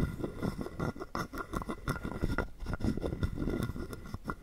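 A hollow carved wooden frog guiro, held in the palm, is rapidly tapped and scraped with a wooden stick. The result is a dense stream of short, dry wooden clicks and raspy scrapes with a woody low body and quick decay, occasionally cut by brighter, sharper taps.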